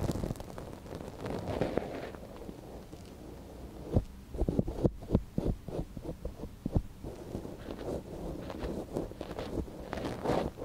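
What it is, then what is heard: Silicone ear of binaural microphone being scratched. A thin wooden stick scratches inside the canal of a soft silicone ear on a binaural microphone, held by a gloved hand. Close, muffled rustling and scraping dominate the low end, broken by a run of short soft taps and scrapes near the middle and louder bursts toward the end.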